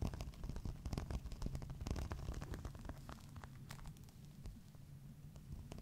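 A green, crocodile-embossed faux leather clutch of medium size, apparently empty, is held up while its textured surface is scratched with fingernails and fingertips. Quick, uneven scratching strokes come in a dense run, giving a low, rumbly rasp with short crackly ticks that soften slightly toward the end.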